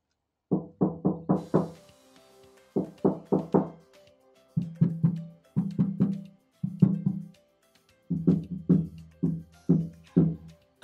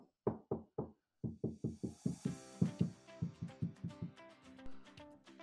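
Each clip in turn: First: hollow, undamped car body panel. Second: solid, deadened car body panel.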